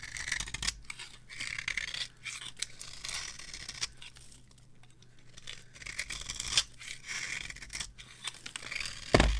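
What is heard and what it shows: A metal knife carves crumbly shavings from a solid, dry, varnished bar of soap held in the hand. Bursts of crisp, bright scraping and crackling alternate with quieter pauses over a faint steady low hum. The clip ends with a sharper, louder crack.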